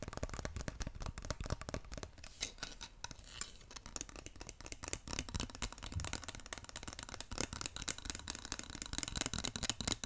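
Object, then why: Wooden massage roller with ridged wooden wheels. A handheld wooden massage roller, with a long thin dark wooden handle topped by a solid stack of light ridged wooden wheels, is held up close and worked with the fingertips. The wheels and beads roll and rattle in a dense, continuous stream of short, sharp wooden clicks. The clicks are bright at the top, with soft low thumps underneath.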